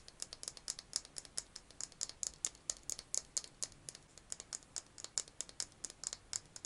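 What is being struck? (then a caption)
Small hollow plastic egg-shaped case. A small hollow pink plastic egg-shaped case, held in both hands, is tapped and scratched with fingernails. About forty quick, dry, bright clicks and scratches follow one another with almost no ring. The sound is thin and high with next to no low end.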